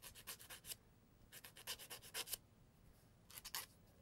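A thin emery board, a solid cardboard core coated with grit, is filed back and forth against fingernails. Three bursts of quick, dry, bright rasping strokes are separated by short quiet pauses. Each stroke is soft and scratchy, with almost no low end and no ring.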